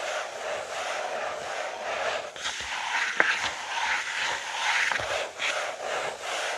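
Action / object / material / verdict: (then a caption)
scrape / paper notebook page / paper / none. Fingertips and short nails scratch the page of an open lined paper notebook with a green cover lying flat on a wooden table. The result is a steady, dry, papery rasp concentrated in the mid and high range with almost no low end, swelling and easing in short strokes. Two sharper ticks stand out from the scratching partway through.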